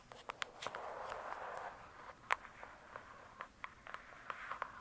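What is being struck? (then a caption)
Hardcover paper book. Long pointed acrylic nails tap and scratch the glossy printed cover of a large, solid hardcover "True Crime" book lying flat. Sharp, dry, bright clicks ring out in a quiet, uneven series, with a soft rasping scratch filling the stretch between the taps early on.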